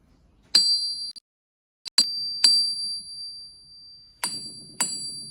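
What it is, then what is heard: Ringing, sound steel anvil. A 100-year-old, 20 kg forged steel German PFP anvil, made before World War II, is struck several times. Each strike produces a bright, high bell-like ring that sustains and fades between hits. The clear ring is the sound expected of a sound steel anvil.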